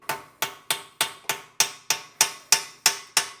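Eleven sharp, bright metallic taps as a hammer drives a steel wheel bearing into the hub of a Lectric XP Trike electric trike. The clicks come at a steady pace, each one short with almost no ring and no low end. Around the sixth tap they turn slightly louder and brighter as the bearing bottoms out and sits flush, which is as it should be.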